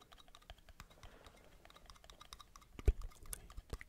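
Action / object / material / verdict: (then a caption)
tap / metal lids / metal / none. Metal lids are tapped rapidly with fingertips in a binaural recording, producing a quiet, steady patter of short, dry clicks that die away almost instantly. One sharper, louder tap stands out near the end of the run.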